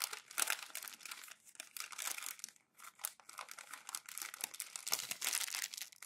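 Thin glossy printed magazine pages lying open flat on a white desk are lifted, crumpled and rolled by fingertips and palms. Dense, bright crackling and crinkling comes in bursts of scrunching, separated by brief quiet gaps, with almost no low end.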